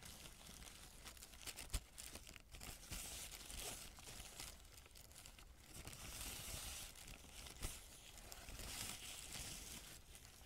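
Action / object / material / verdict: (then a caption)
scrape / crumpled paper sheet / paper / none. A thin, crumpled white paper sheet is spread flat and pressed and rubbed with a fingertip. It makes dense, continuous crinkling and rustling with bright, high crackle, broken by a few sharper snaps.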